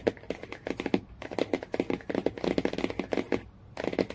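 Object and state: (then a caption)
Hardcover book cover. Fingernails rapidly tap and scratch the cover of a hardcover Jungle Book children's book lying flat, made of cardboard covered in printed laminated paper with a yellow cloth-like spine. The result is a fast, dense run of short, dry midrange taps with a papery scratchy edge and almost no ring, broken by brief pauses.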